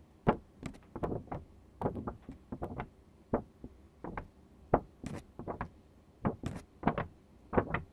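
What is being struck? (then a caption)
Thin card paper sheet. Hands holding a thin sheet of green construction card paper by its edges bend, flex and rustle it. The result is a quiet series of short, crisp crackles and snaps, about two dozen brief bursts with faint hiss between them. Each burst dies away almost instantly.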